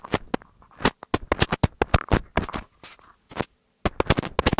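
Fingertips with medium nails tap and rub the capsules of a pair of small black plastic earbud-style in-ear binaural microphones on thin cables, held one in each hand. About twenty sharp, dry, broadband taps land in quick irregular bursts, with soft scratchy rubbing between them and brief silent gaps.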